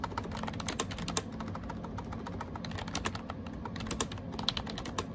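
Fingertips type rapidly on a gray AJAZZ 308i wireless Bluetooth keyboard with round plastic keycaps. The result is a steady stream of quick, light, clicky taps with bright, short-lived attacks over a constant low hum.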